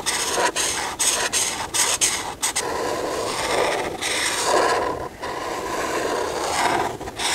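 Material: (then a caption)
Paper. A hand with long painted nails colors a single thin paper sheet with a dress outline lying on a table, rubbing the felt tip of a white marker across it in coloring strokes. A dry, bright, scratchy rasp comes in short, separated strokes at first, then settles into longer continuous rubbing with almost no low-end weight.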